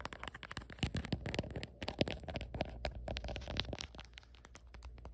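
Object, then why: Hard plastic phone case on a phone. Fingertips and long nails tap and scratch around the camera bump and back of a black printed hard plastic phone case fitted on a phone. The result is a quiet, rapid run of short, dry clicks mixed with crinkly scratching.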